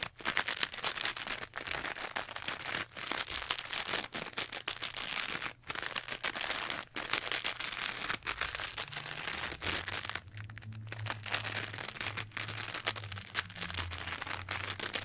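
A teal textured foam sponge is held up close while it is squeezed and scratched with long nails. The result is a dense, bright, crackly scratching with a steady stream of rapid, dry crinkles, easing briefly near the two-thirds mark. A faint low hum runs underneath toward the end.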